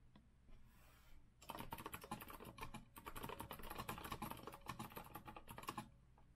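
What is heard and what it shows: Fingertips type steadily on a rose-gold retro Azio mechanical keyboard with a metal frame and round plastic keycaps. After about a second and a half of faint low hum, dense, crisp clicky keystrokes run for roughly four and a half seconds with a brief dip near the middle. The clip then falls back to the quiet hum.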